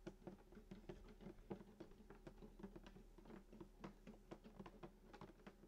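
Fingertips tap rapidly on the wooden top of a hollow sunburst acoustic guitar lying flat, striking below the bridge and near the soundhole. Each soft, quiet tap gives a short, hollow low thump with a resonant tone around 190 Hz that dies away quickly.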